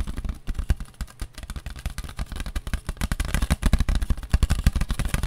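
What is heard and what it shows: A paper plate is tapped rapidly with the fingertips, giving a dense, irregular run of dull, papery taps that are heavy in the low end. The tapping grows slightly louder toward the end.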